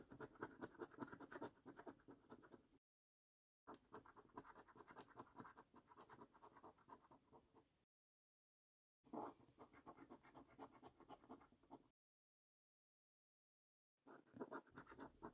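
A coin scratches the latex coating off the symbols column of a flat, thin cardboard £15 Luxury Lines National Lottery scratch card held by the fingertips. Quick, dense, gritty scraping strokes come in four bursts separated by short silences, with a midrange rasp and a faint high hiss.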